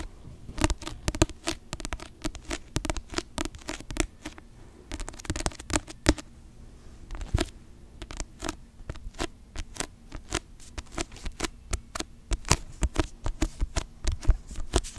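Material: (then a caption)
Paper. A paperback novel held in both hands has its glossy cover scratched and tapped with long manicured nails. There is a rapid, irregular run of short, dry ticks and scratchy strokes that each stop almost instantly, over a faint steady low hum.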